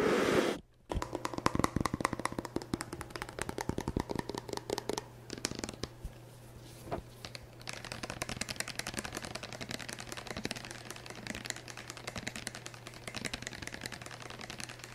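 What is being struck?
Plastic pump bottle filled with shampoo.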